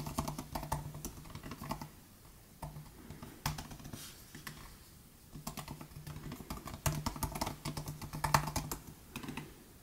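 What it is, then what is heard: Plastic butterfly laptop keyboard being typed on. Both hands type with their fingertips on the plastic butterfly keys of a 2018 MacBook Air laptop keyboard. Bursts of quick, short, clicky taps alternate with brief pauses, over a faint steady low hum.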